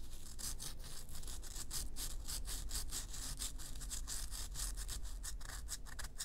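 Long nails rub and scrape the surface of a solid, round bath bomb made of pressed baking-soda powder. The result is a steady rasping sound of quick, repeated bright scratchy strokes over a low background rumble.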